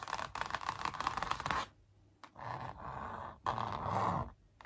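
Long acrylic nails trace and scratch along the outlines of a large printed canvas showing a graffiti sneaker, stretched flat on a hollow-backed wooden frame. A dense, rasping scratch centered around 1 kHz runs for over a second, then after a quiet pause returns as shorter and softer strokes. It ends with a louder stretch of scratching before falling quiet.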